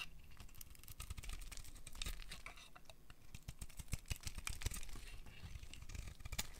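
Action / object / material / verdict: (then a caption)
scrape / bar of soap carved with a blade / soap / none. A solid white dry soap bar held in the hand is carved and scraped with a metal utility blade, its curls falling onto a pile of shavings. Quick, dry scraping and crisp cutting clicks come in a dense, continuous run with a low rumble underneath and short bright ticks on top, with no ring after each stroke.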